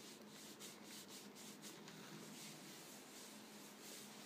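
Fingertips and nails rub and scratch across the front face of a medium-sized, hollow, yellow Vegetable Thins cardboard cracker box, likely filled with crackers, lying on a chair. The result is a quiet, continuous brushy scratching with a bright, hissy texture and soft rhythmic swells, over a faint steady low hum.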